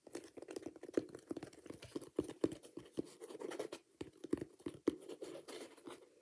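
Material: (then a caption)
Glitter, rubber. A single hollow, empty Dr Martens-style ankle boot with a coarse multicolour glitter upper and a thick black rubber sole with yellow welt stitching is held in hand while fingertips and nails scratch and tap the rough glitter and the rubber sole edge. The result is quiet, rapid, dry scratching mixed with short, dull taps centred around 300 Hz that die away almost instantly, with a few sharper taps standing out.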